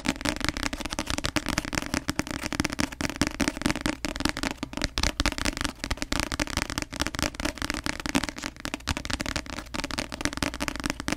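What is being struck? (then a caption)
Paperback book with glossy card cover. Long nails tap fast on the glossy cover of a paperback novel, making a dense run of crisp, clicky taps with a bright, crackling edge. The taps come steadily for the whole clip, each dying away almost instantly, over a faint low-mid tone.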